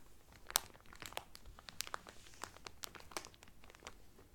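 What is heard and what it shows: Hands, then only one hand, rub and crinkle the cellophane wrapped around a cotton towel. Quiet, bright crackling comes in a rapid series of sharp, dry snaps with no ring, the loudest snap early on.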